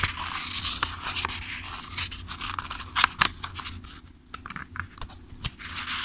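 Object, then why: Paperback book, paper pages. A thick-paper paperback book held in one hand has its pages riffled and flipped repeatedly by fingertips. The result is a steady, bright, papery rustle broken by crisp flicks and a few sharper snaps near the middle, with a brief quieter lull before the riffling picks up again.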